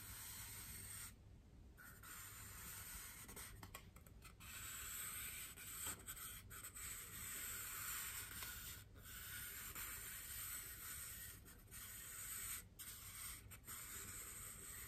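A large, white, solid styrofoam wreath ring held up in both hands is rubbed and scratched with fingers and long nails. The result is a steady, dry, bright scratching and rubbing texture with a few brief gaps, over a faint low hum.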